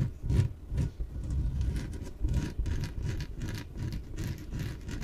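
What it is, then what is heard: Inflatable PVC exercise ball. Long nails scratch and rub the surface of a small, yellow, hollow, air-filled inflatable PVC exercise ball that is held and tilted. Irregular, repeated strokes give a deep, hollow rumbling rub with brief bright, raspy scratches layered on top.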